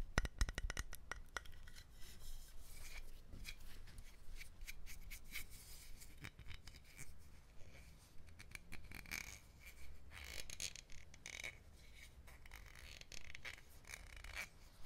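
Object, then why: Dark glass bottle. A hollow, bottle-sized dark brown glass rum bottle is held in both hands and rubbed and scratched along its sides with fingertips and fingernails. It gives a quiet, continuous run of soft rubbing and scratchy friction with a low rumble underneath and bright scraping streaks. A cluster of short, sharp clicks comes at the very start.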